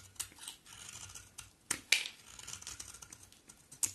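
A box cutter blade shaves a solid, hand-sized coral-orange bar of soap, and crumbly flakes fall off. The sound is a run of dry, crisp scraping and crackling strokes, bright and almost free of low end. A few sharper cuts stand out above the quieter rasping.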